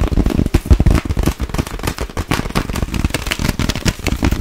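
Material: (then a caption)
Plastic. An empty clear plastic sleeve bag, stretched between both hands, is tapped and scratched fast with long acrylic nails. The result is a dense, continuous run of rapid crackling taps with a heavy low thump and little sharp hiss.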